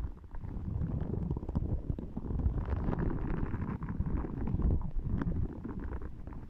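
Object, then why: Spiky rubber massage ball. A small yellow spiky rubber massage ball is held against the microphone and squeezed and scratched with long nails. It gives a steady, dense low rumble threaded with quick crackling scratches, with nearly all of the energy in the deep lows.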